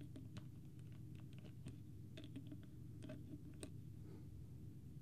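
Fingertips and nails tap rapidly on the plastic cap of a small, clear, partly full plastic water bottle with a green label, close to the microphone. The result is a quiet run of soft, brief clicks and taps over a steady low background rumble.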